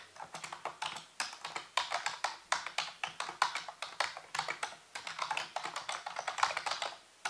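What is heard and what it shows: Fingertips and nails type and tap on the keys of a full-size black plastic computer keyboard with a hollow housing. Quick, irregular runs of short, dry clicks fade almost instantly, carrying a bright clatter with a hollow tone near 1 kHz and almost no low end. The typing continues steadily at a soft level and trails into near silence at the end.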